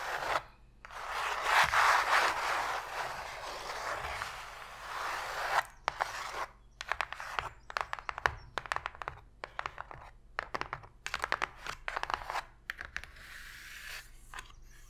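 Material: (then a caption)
Cardboard. Long pink stiletto nails scratch across the flat inner bottom of an open, empty, shallow white cardboard box lid or tray lying on a table. A steady, bright scraping rasp fills the first five seconds, then gives way to a quick, uneven run of crisp, dry taps and short scratches that continues to the end.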